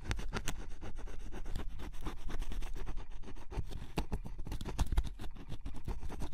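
A wooden stylus tip scratches the black coating off a yellow-blue spot on a cardboard scratch-off jigsaw puzzle piece, up close. A steady run of short, dry scratching strokes rasps on without pause, each stroke cutting off quickly, with most of the weight in a low, muffled rumble.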